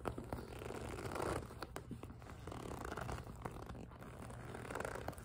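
A small, clear PVC cosmetic pouch with pink fabric trim and a pink zipper, hollow and mostly empty, is gripped and squeezed, then tapped with long acrylic nails. Squeaky, crinkling plastic sounds mix with sharp, quick taps over a low, steady hum.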